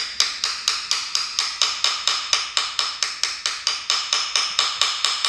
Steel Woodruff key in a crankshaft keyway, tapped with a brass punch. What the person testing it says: you will hear that has changed